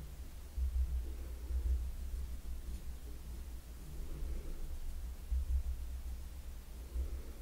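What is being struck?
Nothing is struck.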